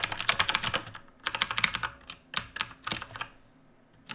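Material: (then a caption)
Plastic, metal. Fingertips of both hands type on a black mechanical keyboard with a metal top plate and plastic keycaps. Quick, bright, clicky keystrokes come in irregular bursts, with short pauses near the one-second mark and a longer quiet stretch before a final keystroke at the end.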